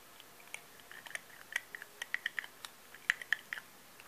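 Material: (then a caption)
Glass. Manicured fingernails tap a small, apparently filled cylindrical glass rollerball perfume bottle with a colourful zigzag label, gold metal collar and clear purple cap, held in both hands. About 18 quick, light, irregular clicks are heard, each a short bright tick near 1.8 kHz that dies away almost at once, over a quiet background.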